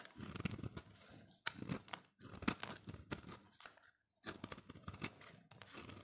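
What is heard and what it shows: A solid oval bar of dry dark green soap, held in the hand, is scraped with a utility knife blade. The result is a run of crisp, crunchy scraping strokes with a bright, rasping texture. Short pauses fall between the bursts.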